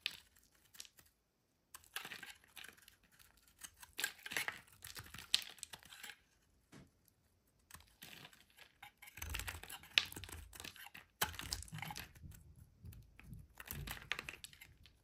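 A solid rectangular pink bar soap held in hand is shaved along its edge with a metal utility blade, pink flakes piling up beside it. The scraping comes as bright, crisp rasps and short crackling strokes in uneven bursts, with brief quiet pauses between passes.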